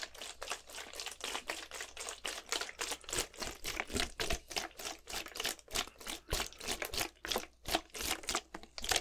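A clear plastic Gatorade bottle, partly filled with blue liquid, is shaken horizontally in one hand. Rapid, uneven bursts of bright sloshing and crinkling plastic come at roughly three per second. Each burst is short with almost no ring, and the sound is mostly high-pitched with little low end.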